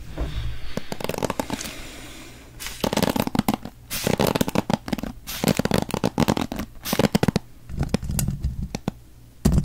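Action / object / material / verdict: scrape / wooden paddle hairbrush with pin bristles / wood / none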